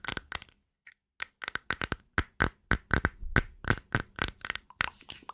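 Long nails tap a small, hollow, round white plastic cream jar with a blue base, striking its flat white lid and its rim. The result is an irregular run of crisp, dry clicks with a hollow plastic tone and almost no ring. A brief quiet gap comes near the start before the tapping picks up pace.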